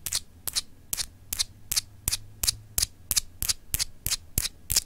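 Long acrylic nails scratch and tap a palm-sized solid clear glass globe paperweight with etched lines, making fifteen quick, bright, scratchy strokes at a steady, loose rhythm. Each stroke is crisp and high with almost no ring, set against a faint low hum.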